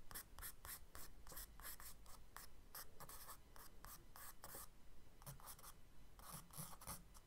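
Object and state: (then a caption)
Charcoal sketching on kraft paper. A charcoal stick held in the fingers scratches and strokes quick sketch lines across a brown kraft paper page of a spiral-bound sketchbook lying flat on a dark wooden desk. Short, bright, dry scratching strokes come in rapid bursts with brief gaps between them, over a low, quiet background.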